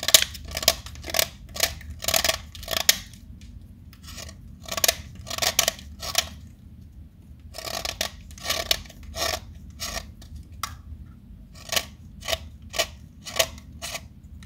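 A small solid pink chalk stick, held in a hand with long pink nails, is carved with a metal utility knife blade, sending pink flakes falling. Short, bright, dry scraping strokes come in quick bursts separated by brief pauses, each ending sharply with almost no ring. A faint low hum sits underneath.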